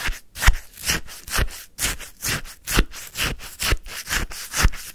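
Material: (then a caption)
Ice. A wooden stick scrapes and scoops icy frozen lemon sherbet in a white paper cup, making about ten crunchy, gritty strokes in a loose rhythm. Each stroke is a short broadband rasp with a bright icy crackle over a soft low thump.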